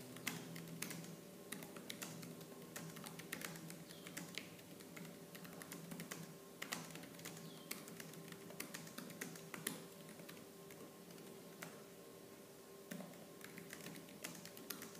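Fingertips with purple-painted nails type fast on the black plastic keys of a laptop keyboard. A dense, continuous stream of short, crisp clicks with bright tops plays over a faint, steady low hum.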